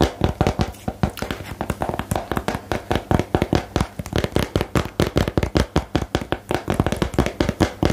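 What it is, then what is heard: Cardboard game box tapped with nails. Long nails tap fast on a small, hollow, rectangular cardboard box for the "Geheimakte" card game. A steady stream of rapid, dry taps sounds, each a short, dull thump weighted toward the low end with very little brightness. The taps die away almost instantly.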